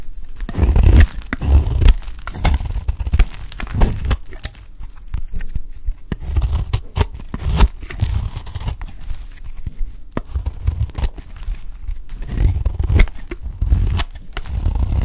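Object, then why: Bar of soap shaved with a metal blade. A metal utility blade shaves the corner of a solid, dry purple bar of soap into curled strips. Repeated dry scraping, crumbly shaving strokes run throughout, with a low, close-up thud-like weight and faint bright crackle on each pass.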